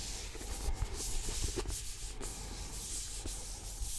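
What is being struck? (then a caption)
Paperback book with paper cover. Fingernails and fingertips rub and scratch across the paper cover and spine of a thick, solid paperback book. A steady, rough scratching hiss carries on throughout, with a low rumble underneath and no separate taps.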